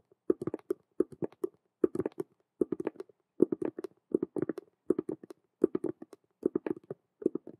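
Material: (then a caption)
Vinyl. Long acrylic nails rapidly tap and scratch the side of a large hollow cube-shaped handbag, a black patent faux-leather frame around a clear holographic vinyl window with a metal chain hanging in front. Quick clusters of dry, hollow clicks and short scratches come in rapid bursts with brief pauses between them. The sound has a boxy midrange body and stops dead after each tap.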